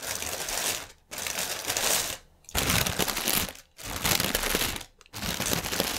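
Fingertips and nails scratch and tap a strip of inflated, hollow, air-filled clear polyethylene air-cushion packaging lying on a table. The result is bright, dense crinkling and crackling in about five bursts, separated by short quiet gaps.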